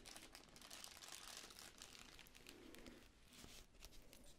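Fingertips and long nails crinkle and scratch a small magenta tissue paper honeycomb decoration, folded flat and then opened into a ball. A quiet, continuous bright crinkling and scratching fills the clip, with rapid tiny crackles and a few sharper ticks, easing slightly near the end.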